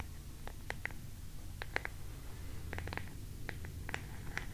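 Long nails scratch the ornately carved relief on the back of an oval wooden hairbrush held up close to the mic. Short, crisp scratching ticks centered around 2 kHz, some with bright edges, come in irregular bursts. They sit over a steady, quiet low rumble and die away instantly.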